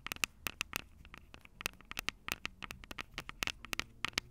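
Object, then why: Metal mesh microphone capsules on a small plastic recorder. Long purple acrylic nails tap and scratch the two small crossed metal mesh microphone capsules on the hollow plastic body of a Tascam DR-05 handheld recorder. About two dozen sharp, bright clicks, each peaking around 2.6 kHz, land in quick, irregular succession over a faint scratchy rustle. Each tap stops dead with almost no ring.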